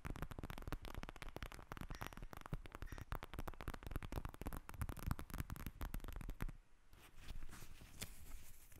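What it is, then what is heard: Plastic gel bead eye mask. Long nails tap and scratch a pink plastic gel bead eye mask lying on a table, with a recorder sitting untouched behind it. Dense, rapid clicking and scratching runs nonstop for about six and a half seconds, mostly low and muffled. It then drops to a quieter, softer scratching for the rest of the clip.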